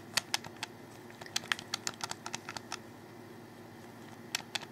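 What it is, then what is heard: Plastic game controller. Fingers click and tap on a hollow black plastic Xbox 360 controller held close. Seventeen short, bright clicks come in an irregular run over a faint low hum, with a quiet gap before two final clicks near the end.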